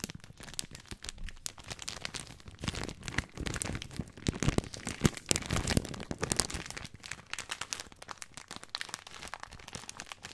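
Fingertips scratch and crinkle the surface of a full plastic film bag of dry spaghetti. A dense, continuous stream of crisp, crackling rustles with bright, sharp transients and soft low thumps underneath runs throughout, swelling slightly in the middle.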